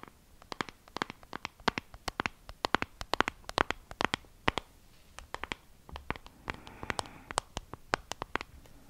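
Long acrylic nails tap and scratch a small, flat, hollow pink plastic compact case with a wavy relief pattern. Dozens of quick, dry, clicky taps come in uneven bursts, bright and crisp with no ring. Soft, raspy scratching runs between the taps.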